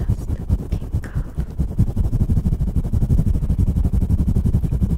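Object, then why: Synthetic fur microphone windscreen. Fingertips of both hands rapidly scratch and rub a fluffy grey faux-fur windscreen on a stand microphone. The result is a dense, muffled, low rumbling scrape with a steady fluttering texture and almost no high end, running continuously for the whole clip.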